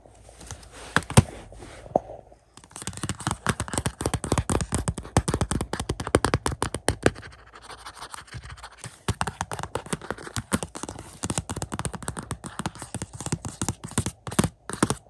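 Fingernails scratch the back of a glossy cardboard slipcover on a Shang-Chi 4K Blu-ray case as it is held and lifted. Sparse light scratches give way after about two and a half seconds to rapid, dense, dry scratching and tapping with a low thump underneath and a bright crackly edge. The activity dips briefly in the middle, then continues until the end.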